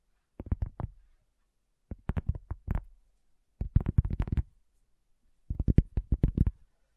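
Long fingernails tap slowly on a solid, round, flat cork coaster, in four separate bursts of quick taps with silences between them. Each tap is a soft, dull, low thud that stops almost at once, with no ringing.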